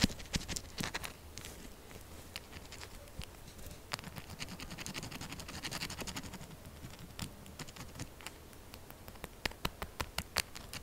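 A solid pink soap bar with small holes is held and tapped fast with long acrylic nails. Quick, dry clicks and light scratching patter on without a break over a soft low rumble, with a few sharper, louder taps near the end. Each tap stops almost instantly with no ring.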